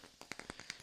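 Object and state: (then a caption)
Wooden block. A block of wood is tapped six times in quick succession. Each tap is short, dry and bright, centered around 2 kHz with very little low end, and dies away almost immediately at a quiet level.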